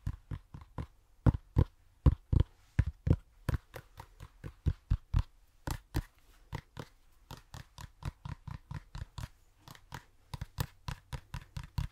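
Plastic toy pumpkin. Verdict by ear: Hollow.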